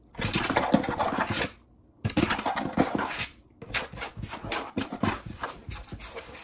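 Fingertips scratch and rub across a large solid wood-grain tabletop, and palms rub over its surface. The result is bursts of dry, broadband scratching and rubbing, bright and hissy at the top, with soft thumps low down. The bursts come in three stretches separated by brief near-silent pauses.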